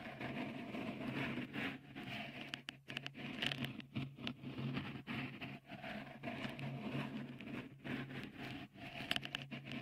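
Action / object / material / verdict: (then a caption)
tap / silicone microphone cover / silicone / none. Fingertips tap and rub a small, hollow, white dimpled cover, likely silicone, fitted over the right microphone capsule of a Tascam recorder. The result is a close, continuous patter of soft crackling taps and scratchy rubbing, bright in the upper mids, over a steady low hum. The taps are short, with no ring after them.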